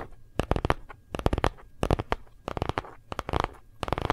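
A phone in a hard plastic gold-print case is tapped rapidly by both hands with fingertips and nails. Quick bursts of dry, clicky taps with a low, thumpy body come in short clusters separated by brief pauses, each tap dying away almost instantly.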